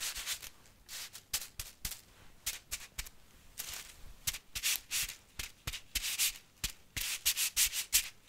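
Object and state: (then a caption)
Dry spaghetti bundle riffled. Fingertips and long painted nails rub and riffle through a handful of long, thin, solid, uncooked dry spaghetti strands held upright and fanned out. The result is a quick, irregular series of short, bright, crisp rustling and scratching bursts with almost no low end and very little ring after each touch.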